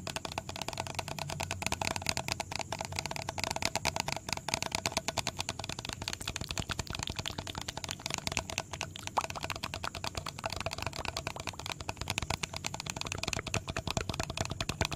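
A medium, hollow blue plastic bottle with a red cap is held close to the mic and tapped and scratched with fingertips. The result is a continuous, dense stream of quick, dry clicks and scratchy rustles that stays bright and crisp, with a light hollow low thump under the taps. Each tap dies away almost instantly.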